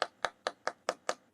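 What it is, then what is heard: Hollow wooden box. A carving box built from flat pieces of wood glued together is tapped six times at an even pace, each tap a short, dry midrange knock that dies away almost instantly. The box sounds hollow, so carving must stop short of breaking through into its center.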